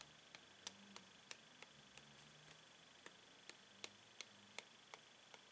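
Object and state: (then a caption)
Plastic blister pack tapped with a metal pen tip. A clear, hollow plastic blister pack holding five coloured paint pens on a cardboard card is tapped 13 times with a metal pen tip. Each tap is a short, sharp, bright tick that dies away almost instantly, at an irregular, unhurried pace over a quiet hiss.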